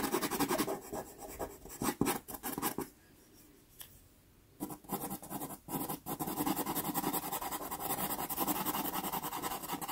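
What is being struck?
Pastel pencil on textured pastel paper card.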